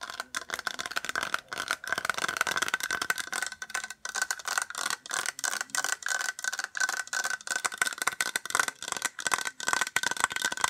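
A small white hollow plastic case is tapped rapidly with long acrylic nails and fingertips. The result is a steady run of quick, dry clicks and rattly taps with a hollow ring around 1.5 kHz and bright edges, each tap dying away almost instantly.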